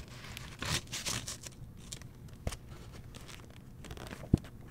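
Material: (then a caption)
Paper. The paper pages of an open hardcover novel, *The Seventh Plague*, are turned by a fingertip with a long painted nail. Bright, papery rustles and crinkly swishes sweep through the first second and a half, followed by quiet handling and a few sharp, dry taps near the middle and end.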